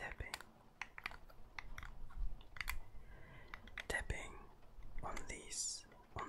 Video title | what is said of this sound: THE ULTIMATE ASMR TRIGGER BATTLE - TAPPING VS. MIC SCRATCHING | It's made out of wood, and for me, the sound is soft and pretty clear. Pretty clean.